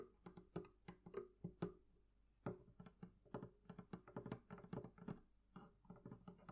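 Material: Wood.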